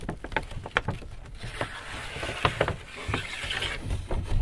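Fingertips tap, rub and crinkle the front of a large white paper Hudson's Bay shopping bag with handles, hollow and apparently empty. A series of quick, dull, low taps mixes with soft papery rustling and brighter crinkles, each tap dying away almost at once.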